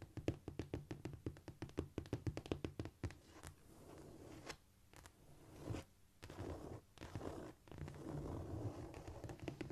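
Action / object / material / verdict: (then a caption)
tap / cork floor / cork / none. Long nails tap and scratch with both hands on a flat, solid cork floor. A quick run of dull, soft taps opens the clip, then gives way to quiet, continuous scurrying and scratching with a few scattered knocks. The sound stays low and muffled throughout.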